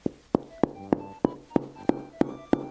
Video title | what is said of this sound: We DURABILITY Tested 10 Pizzas! | that sounds like somebody's knocking on the door